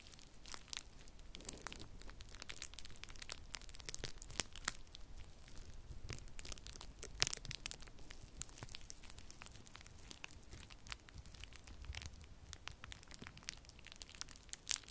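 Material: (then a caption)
Plastic. Clear plastic bubble wrap is twisted and wrung between both hands, giving a steady run of crinkling with many sharp, bright pops and snaps scattered throughout. The sound is quiet and close, with no lingering ring after each pop.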